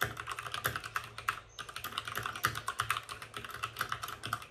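Fingertips of both hands type fast on a white RGB-backlit mechanical keyboard with plastic keycaps and a hollow plastic case. A rapid, steady stream of short, bright clacks is heard, each dying away almost instantly, with a brief pause about a third of the way through before the typing resumes.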